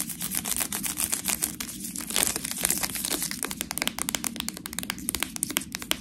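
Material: Plastic.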